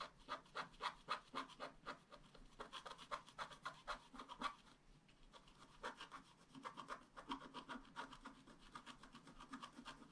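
A wooden stylus scratches the coating of a flat, black-coated scratch-art card in quick, repeated strokes. Each stroke makes a dry, bright rasping scrape. A rapid run of strokes pauses briefly near the middle, then the scratching resumes, faster and more blurred together.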